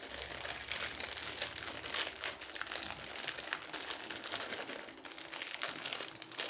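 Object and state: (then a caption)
Plastic candy bag crinkled. A small, sealed blue plastic M&M's bag full of candies is held in both hands, crinkled and rubbed by long-nailed fingertips, with its contents shaken lightly. A dense, bright, continuous crinkling and crackling runs steadily throughout, with almost no low end.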